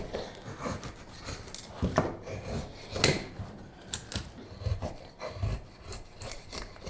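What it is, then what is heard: Wooden spoon blank being carved. A straight steel carving knife shaves a solid, light wooden spoon blank, making repeated short cutting and scraping strokes. The dry, rasping scrapes have a low body and bright edges, and each fades quickly before the next stroke.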